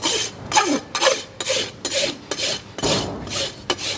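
A long steel rasp, held in both hands, files the solid keratin hoof wall of a horse hoof fitted with a steel shoe and resting on a stand. About nine rough, rhythmic strokes are heard as bright, gritty bursts with brief dips between them. The rasping is mostly high-pitched, with almost no low end.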